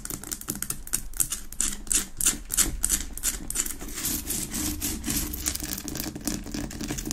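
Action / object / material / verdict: tap / rock-salt lamp / rock salt / none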